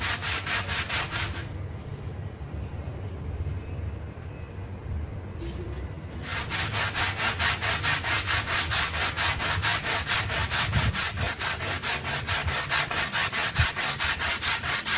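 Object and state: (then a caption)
Synthetic pile carpet rug being scrubbed. A handheld red stiff-bristle brush scrubs back and forth across a small, flat, solid rectangular brown synthetic pile carpet sample dusted with white cleaning powder and lying on a floor. The result is a steady, rhythmic, bright bristly scratching with a low hum underneath. The strokes drop to a quieter, duller rubbing for a few seconds before the fast, regular scrubbing resumes.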